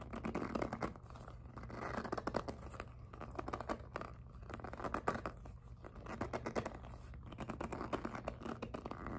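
Long acrylic nails tap, grip and scratch the smooth surface of a small, hollow, empty-looking pink glossy jelly PVC handbag decorated with flower appliqués. Soft, rapid scratching and tapping flutters through a muffled midrange over a low steady hum, with dense clusters of quick strokes that rise and fall in bursts.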